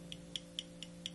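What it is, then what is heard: Loose knife pocket clip. The loose metal pocket clip on a Cold Steel Code 4 folding knife is moved, giving five sharp, bright clicks near 3 kHz as it knocks against the handle, over a steady low hum. The clip is loose, which is unusual compared to other Cold Steel knives.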